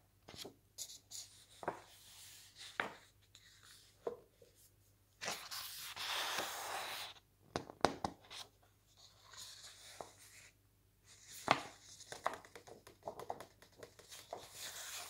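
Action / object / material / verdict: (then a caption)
scrape / thick lookbook with glossy paper pages / glossy paper / none. Fingertips lift and slowly turn the glossy paper pages of a large, thick lookbook. Soft taps and crisp paper clicks alternate with longer, bright rustling swishes as each page sweeps over, with quiet pauses between.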